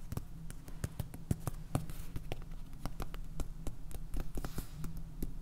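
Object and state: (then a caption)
Plastic salt container tapped with fingernails. Fingernails tap and scratch on a small clear plastic jar filled with white salt, topped with a purple lid. Quick, sharp clicks and ticks come in an irregular run over a steady low hum.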